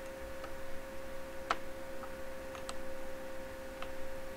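A small, hollow, clear glass incandescent bulb with a metal screw base is held in both hands over a reflective table and turned while fingertips and nails tap and click on the glass. A few light, bright ticks ring briefly over a steady low hum, the loudest coming about midway through the clip.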